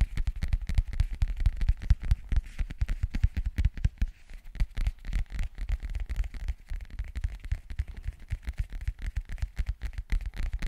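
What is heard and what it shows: Fingernails scratch and tap the surface of a flat, hollow black zippered hard-shell case held close to the mic. The result is a dense run of quick, dry, low thuds with scratchy crackle on top. The tapping eases briefly around the four-second mark, then picks back up.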